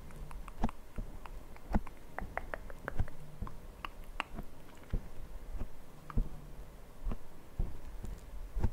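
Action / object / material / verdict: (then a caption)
tap / foam microphone windscreen / foam / none. Fingertips of both hands lightly tap and scratch a black foam windscreen on a Zoom recorder's microphone. Soft, muffled, irregular thumps mix with a low, scratchy rustle, all dull and bass-heavy with almost no high end. Each tap stops almost at once.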